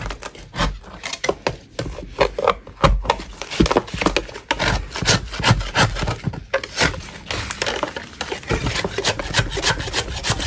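A gloved hand scrapes the edge and surface of a large solid chalk block with a metal putty knife. Repeated short, dry, rasping strokes follow one another steadily, each a gritty scrape with a bright crumbly edge over a low, soft thud.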